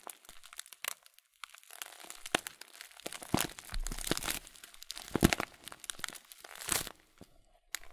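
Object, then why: Plastic bag of oat flakes. A full blue plastic bag of Kölln oat flakes with a folded top is squeezed and crinkled with the fingertips and thumbs. Quiet, irregular crinkles and crunchy rustles come in bursts, with occasional sharper cracks, some bright, over a soft, low rustle.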